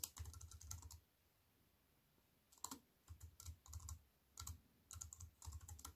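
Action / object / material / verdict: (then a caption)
tap / plastic computer keyboard with aluminium frame / plastic / none. Fast typing with fingertips and long white nails on a compact wireless keyboard with black plastic keys in a thin silver aluminium frame, resting on a wooden table. Bursts of quick, crisp clicks with bright, high ticks and a soft low thud come in short runs. A pause of about a second and a half breaks them up before the typing resumes.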